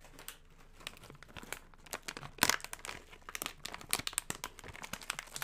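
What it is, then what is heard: Crinkled foil chip bag. A medium yellow Funyuns chip bag of metallized plastic, which appears partly full, is held, squeezed by fingertips, and crinkled and rubbed in front of the mic. It makes a dense run of sharp, bright crackles and crinkles over a quiet hiss, with a louder burst of crinkling near the middle. Each crackle stops almost instantly, with no ring.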